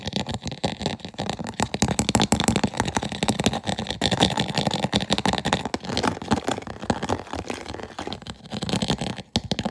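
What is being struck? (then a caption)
Clear plastic food container with plastic lid. Fingertips and nails rapidly tap and scratch the lid of a medium, hollow, empty clear plastic food container with an orange push-button vent, held up in the air. The result is a dense, continuous stream of quick, dry taps and raspy scratches with a hollow, low plastic body and bright, gritty scraping on top.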